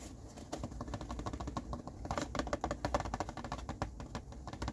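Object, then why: Cardboard tissue box. An empty, hollow blue cardboard tissue box is turned in the hands while fingertips and nails tap and scratch its printed sides and ends. The result is a quick, uneven patter of soft, dry clicks and scrapes with a low, hollow body and short, brief ring.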